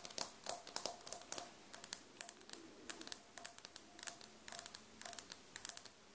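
Long dark-painted nails on both hands tap and scratch large beige glazed ceramic floor tiles with grout lines on a solid floor, beside a small recorder that is left untouched. A quick, uneven run of sharp, bright clicks sounds with almost no low end, each dying away instantly, mixed with faint scratchy rasps between the taps.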